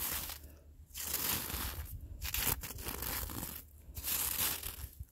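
Gloved fingertips scratch and drag through crusty, icy, granular snow on the ground, leaving finger grooves in the surface. Bursts of gritty, bright crunching and scraping come in several long strokes separated by brief pauses, with a low rumble underneath.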